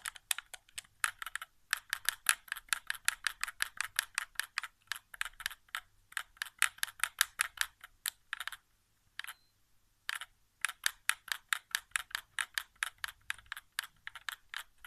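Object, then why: Plastic game controller. Fingertips tap and press the buttons and thumbsticks of a white, hollow plastic PS4 controller resting on carpet. Dozens of quick, dry, bright plastic clicks come in steady bursts, with no low end and no ring, and short pauses near 1.7 and 9 to 10 seconds.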